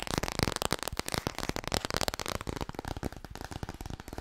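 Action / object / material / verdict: tap / laminated cardboard board book / cardboard / none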